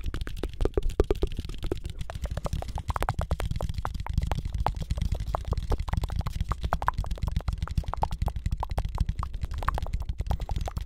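A thin, rigid, roughly book-sized cut-out of flat brown cardboard shaped like a floppy disk is held in both hands and tapped quickly with the fingertips close to the mic. A continuous stream of soft, dull, hollow taps sits over a heavy low rumble, with almost no high or bright content. The tapping stays dense and steady for the whole clip.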